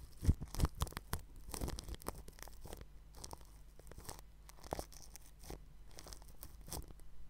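A red-handled bristle paintbrush rubs and brushes across a round white microphone whose grille is wrapped in clear plastic cling film. The result is close, crinkly rustling and scratchy brushing strokes, with a few sharper crackles near the start. A low, steady hum sits underneath.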